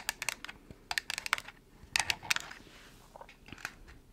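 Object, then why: Small cardboard box. Long nails tap and scratch a small, hollow, white printed cardboard product box. Quick, irregular clusters of sharp, bright clicks are heard, with dry, crisp scratching between them and no ringing after each tap.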